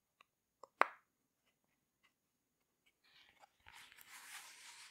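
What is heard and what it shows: Fingers press and pop the bubbles of a rainbow heart silicone pop-it fidget toy and tap its surface with long nails. Two light clicks lead into one sharp, bright pop that dies away quickly. After a near-silent pause, a soft, scratchy rustling of nails on the silicone builds until the end.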